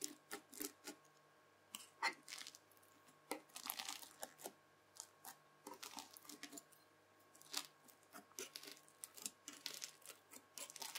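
A white plastic fork scratches and slices through the beaded surface of a red bead-filled floam slime. It makes quick, bright crunching and crackling bursts, like tearing, over a faint steady background hum. Each crunch stops almost at once.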